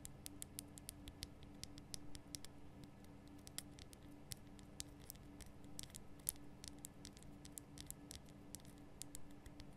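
Long nails tap around the rough sides of a large, glowing pink Himalayan rock salt lamp, a solid salt block. Quick, dry, bright ticks and light scratchy taps patter steadily over a quiet, low, constant hum.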